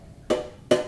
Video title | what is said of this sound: SourDough Loaf 55 | it's finally gotten some lightness to it some airiness to it which I'm happy about you hear that that Hollow sound